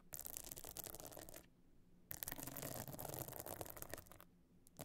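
Long nails scratch across the bumpy top of a closed clutch bag lying flat, its surface covered in glued stone and shell chips and fitted with a gold metal frame. Dry, gritty scratching rasps in two long bursts with a quiet gap between them. A final short scrape follows, bright and clicky over a faint low rumble.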